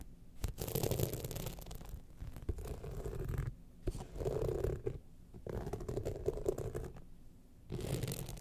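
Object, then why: Rhinestone-studded evening clutch bag. Long nails scratch across the studded surface of a gold rhinestone-studded evening clutch bag tilted in a hand. The result is a dense, low-heavy scratching and rustling with a faint midrange tone, coming in several long bursts separated by brief quiet pauses.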